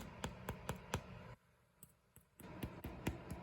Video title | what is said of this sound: Homemade Sandwich Bread Using a Bread Machine to make the dough and bake in the oven! | When you tap the bread, you'll hear a hollow sound coming out of the bread.